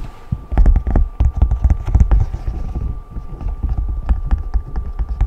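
Fingertips and short nails tap and scratch over the hollow raised bubbles of a large rainbow silicone pop-it fidget toy, close up. Rapid, dull, deep thumps come in uneven bursts with soft scratchy rustling between them, over a faint steady tone.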